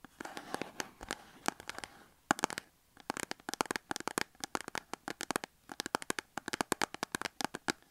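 Long acrylic nails tap and scratch the front of a small cardboard soap box with a soap bar inside, standing on a table. Dozens of quick, dry, papery clicks come in irregular bursts, mixed with soft scratchy rustles and a brief pause near the middle. Each tap dies away almost at once.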